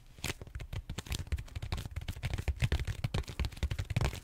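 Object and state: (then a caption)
Styrofoam foam roller. Fingertips and short nails scratch and tap the textured surface of a large, solid purple styrofoam foam roller held horizontally. It makes a rapid, uneven run of soft, low thumps mixed with dry, crackly scratches. Brief bright rasps flare up between the taps.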